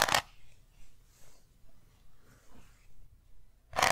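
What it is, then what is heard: Round metal tin. A small round metal tin with an embossed lid is tapped and scratched with long nails. A sharp, bright tap opens and closes the clip, with a steady series of soft, airy scratching strokes across the lid in between.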